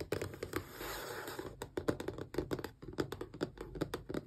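Long press-on nails tap quickly along the edges and sides of a small, closed, hollow cardboard Xbox controller box. The result is a run of crisp, light clicks with a hollow, boxy knock, plus a brief soft scratching sweep near the start.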